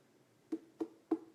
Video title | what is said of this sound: Coffee Chat #9 | you hear that kind of hollow sound you do kind of want to hear that hollow sound